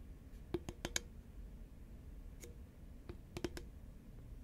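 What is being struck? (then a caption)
Paperboard chip tube. Long nails tap a hollow green Pringles paperboard tube held at an angle, making short, dry, bright clicks with a faint hollow body. The taps come in a quick cluster, then a lone tap, then another cluster, over a low, steady background hum.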